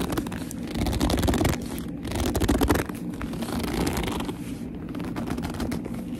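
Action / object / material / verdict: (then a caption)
scrape / leather handbag scratched and gripped with fingernails / leather / none. Long nails scratch and grip the top and front of a black leather handbag, making squeaky, rasping leather sounds in a dense, continuous texture. The sound swells louder around the first and third seconds, then settles into a steadier scratching, with most of its weight in the low end.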